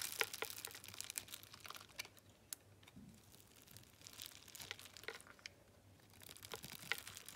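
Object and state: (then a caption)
Dry bar soap being cut. A metal utility knife cuts grid-scored cubes off the surface of a solid blue, dry bar of soap held in the hand, and the cubes pile up below. It makes quiet, bright, crisp crunching and crumbling sounds with rapid little clicks and brief pauses.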